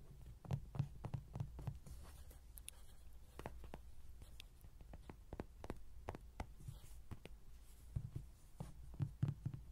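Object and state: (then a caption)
Vinyl toy tapped. Fingertips and nails tap the cheeks and sides of a hollow yellow vinyl Rody toy standing on a table. Quick, irregular, dull hollow knocks come in clusters over a low steady hum, with brief bright ticks.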